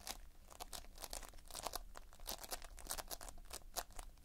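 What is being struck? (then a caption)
Foam-bead modelling compound. Thumb and fingers pinch and squeeze the edge of a mass of multicolored Playfoam, foam beads held in a sticky binder. The result is a quiet, rapid run of soft, bright crackling and crunching bursts, each one short and dry with almost no ring.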